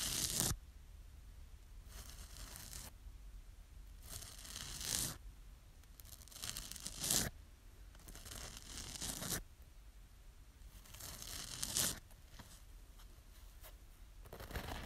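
Long manicured nails scratch and rub a small rectangular yellow foam kitchen sponge with a green abrasive scouring layer, held in one hand. Bright, tearing-like rasps come in bursts every couple of seconds, with quieter scraping between them over a faint low hum.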